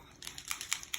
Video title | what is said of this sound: Alcohol ink class with Anna | you hear that little ball shaking